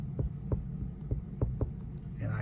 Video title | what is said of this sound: Ethel gets a new bunkroom TV - 29vbud upgrades | hear it tapping on that backer so i know i've got good backer on both sides